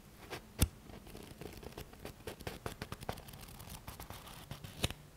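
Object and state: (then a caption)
Paperback book, scratched and tapped. Fingertips and nails scratch the stacked page edges of a thick paperback book with a paper cover, held sideways, and tap its spine area. Soft, dry, papery scratches and light taps run throughout, punctuated by two sharp, louder taps that die away almost instantly.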